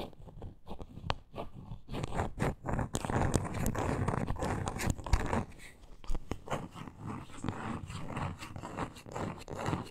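Long nails scratch and tap along the grain of a small, solid, reddish-brown wooden block with a glitter edge, held in both hands. Dense, crackly scratching fills the clip, broken by short dry taps with almost no ring, and the sound is heavy in the low end.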